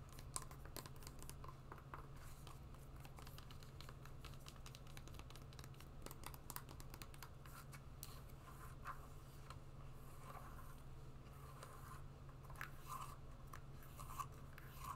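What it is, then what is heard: Suede wedge shoe scratched. Long nails scratch and rub across the brown suede and the insole of a suede wedge shoe. Soft, dry scratching and rustling come in quick, uneven bursts with sharp bright clicks. A steady low hum sits underneath throughout.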